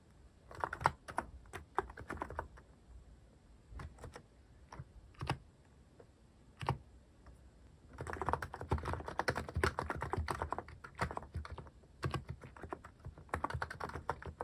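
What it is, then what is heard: Mechanical keyboard with plastic keycaps being typed on. Fingertips type on a cream plastic-cased mechanical keyboard fitted with cat-themed plastic keycaps. Short, sharp clacks come in bursts and scattered single strokes, with dense runs near the start and from about 8 to 11 seconds and quiet gaps between. Each click is crisp and dies away at once.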